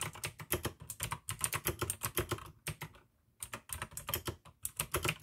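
Both hands type continuously with the fingertips on a full-size pink AUKEY mechanical keyboard with plastic keycaps and clicky blue switches. Rapid, bright clicks sit over a low thock, with a brief pause near the three-second mark before the typing resumes.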